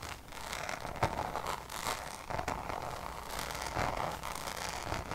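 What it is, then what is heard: Coated canvas pouch. Long nails tap and scratch the Damier checkered coated canvas of a Louis Vuitton pouch. A steady, bright scratchy rustle carries a light tonal ring around 900 Hz, broken by a few sharper taps that stand out briefly.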